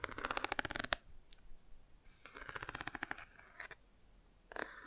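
Long nails rapidly tap and scratch the textured car page of a cardboard board book held open at an angle. The result is a quiet, dry, papery crackle of quick clicks and scrapes, heard in bursts with short pauses between them.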